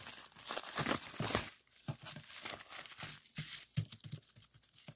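A sheet of clear plastic bubble wrap is first squeezed and bunched up in the fingers, giving a dense, bright crinkling rustle. It is then laid flat and pressed with the fingertips, producing a run of short, sharp pops and crackles with quick decay.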